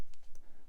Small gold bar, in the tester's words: different density so it's got slightly different ring